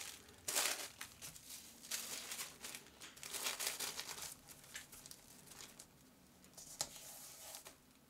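Thin, translucent printed glassine paper is folded around a flat notebook on a cutting mat as fingertips fold, press and smooth it, and a round sticker seals it shut. Bright, crisp crinkling comes in uneven bursts with a sharp rustle near the start and another near the end, fading to a soft hiss between.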